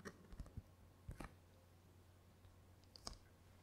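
A thin, flat, glossy paper Corsica Linea ferry brochure, held in both hands, is scratched and tapped with long painted fingernails. About six short, dry clicking taps stand out over a low steady hum, with faint crinkly scratching between them and a bright tick near the end. It is soft and close, with little ring after each tap.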